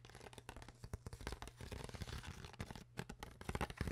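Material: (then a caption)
Plastic. Long nails tap and scratch the ribbed sides of an empty, hollow, clear PET plastic water bottle with a white cap. Rapid, short, crinkly clicks and scrapes sound over a steady low hum.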